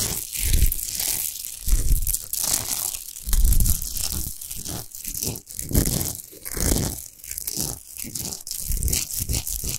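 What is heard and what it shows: Long nails scratch fast across a tall, unlit, rough-textured natural Himalayan rock salt lamp of solid salt. The result is a dense, gritty rasping with a bright hiss over deep, rumbling low thuds, rising and falling in rapid bursts.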